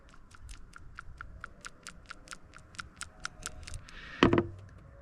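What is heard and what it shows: An old metal-and-plastic PCV valve from a 2014 Kia Rondo's 2.0-liter GDI engine is shaken, giving about sixteen quick, light rattling clicks followed by a louder, harsher burst near the end. The valve is sticking and bad, and it was replaced because of high oil consumption.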